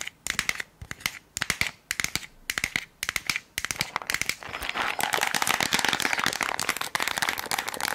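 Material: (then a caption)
Plastic. Long acrylic nails tap and scratch a small rectangular Bullrich tablet container, a hollow white plastic body with a blue lid and paper label and tablets inside. For the first half there are quick bursts of bright, clicky taps separated by short pauses. These then give way to continuous, dense, crackly scratching with a mostly high, crisp tone and little low end.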